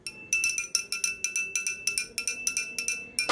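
A metal puja hand bell is shaken in rapid, steady strokes, each clapper strike giving a bright, high, glassy clink with a short ring. The sound is thin and bright, with no low end.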